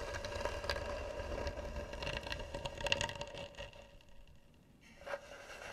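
Fingernails scratch slowly and hard across the lid of a hollow, carved, varnished wooden box. The result is a dry, broadband rasping that stays fairly steady, with a faint ringing tone in the mid range, then thins out near the end before one last brighter scrape.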